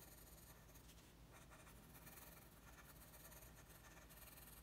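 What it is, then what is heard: Colored pencil on drawing paper. A red wooden colored pencil rubs and scratches across a flat, thin, solid sheet of white drawing paper lying on a table in steady coloring strokes. The result is a continuous, quiet, papery scratching with a bright hiss over a faint low hum, with no distinct separate hits.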